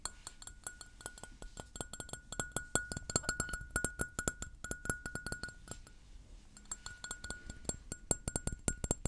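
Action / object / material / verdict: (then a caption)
tap / porcelain mug / porcelain / none. A hollow white floral porcelain mug is held and turned while being tapped with fingernails. It gives a rapid, uneven stream of sharp, bright clinks that die away almost instantly, over a faint sustained ringing tone near 1.4 kHz and high glassy overtones. The tone briefly fades in a short pause near the six-second mark before the tapping picks up again.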